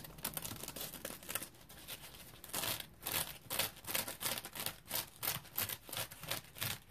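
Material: Polymer foam.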